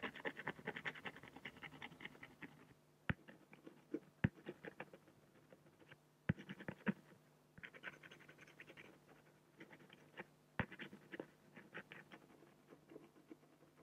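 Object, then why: Acrylic glass sheet scratched with a fine-liner pen. A black fine-liner pen scratches rapid hatching strokes on the head drawn on a large, flat, solid acrylic sheet. Bursts of quick, dry, papery scratching alternate with short pauses and a few sharp, bright ticks. A faint, steady low hum runs underneath the whole quiet clip.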